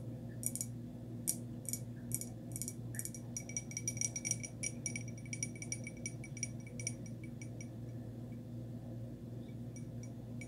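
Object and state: Glazed ceramic pot tapped with fingernails.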